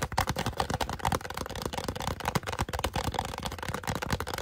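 A small, hollow white polystyrene foam cup with a drawn face is held upside down in both hands and tapped and scratched rapidly with fingertips and short nails. The result is a fast, continuous stream of dry clicks and scratchy rustles with hollow, slightly pitched knocks around 770 Hz and soft low thumps. Each hit is short and dies away almost at once.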